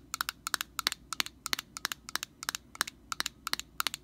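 Long painted nails tap and scratch the end and rim of an orange hollow plastic cap on an aerosol can held sideways. Twenty-one sharp, dry, bright clicks come in quick pairs and small clusters at an uneven pace of about three per second, each stopping dead with no ring over a faint low hiss.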